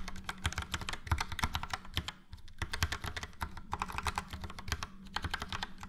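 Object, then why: Plastic mechanical keyboard. Fingertips of both hands type steadily on a full-size plastic mechanical keyboard, a Logitech POP Keys with a yellow frame and round dark grey and light grey typewriter-style keycaps. Rapid, uneven keystrokes produce bright, crisp clacks over a low, muted thock. Each strike dies away almost instantly, and typing continues with only brief pauses.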